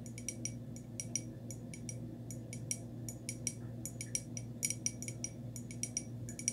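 Long nails tap a small, hollow, white glazed ceramic cup with a textured surface in a quick, irregular series. Each tap is a short, bright, glassy click that dies away almost at once. A steady low hum runs underneath throughout.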